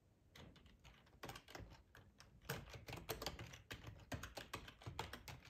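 Fingertips of both hands type on a black plastic, full-size ergonomic split keyboard resting on a cloth tablecloth. A quick, irregular run of short plastic key clicks and soft thocks comes through, each dying away almost at once, with some clicks louder than others. Key presses with a bright clatter on top sit over a muffled low thud.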